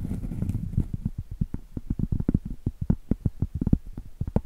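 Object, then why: Cork trivet. Long acrylic nails scratch and then tap rapidly along the edge of a round, solid cork trivet held edge-on. The sound opens with a soft, dull scratching wash, then turns into a fast run of short, muffled, low thuds. Each thud dies almost instantly, with no ring and almost nothing bright.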